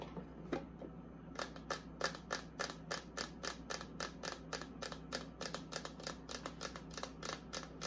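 Long acrylic nails tap and scratch the inside shelves and walls of a small, empty, hollow pink and white plastic mini beauty fridge with its door open. A quick, uneven series of sharp, bright clicks and short scrapes plays over a faint, steady low hum.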